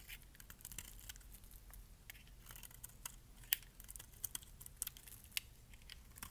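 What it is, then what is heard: Dry bar soap being scraped. A metal blade scrapes thick flakes off the surface of a solid, dark purple bar of dry soap. It makes quiet, irregular crisp crackling and scratching with bright, short clicks, a few sharper snaps standing out near the end, over a faint low background rumble.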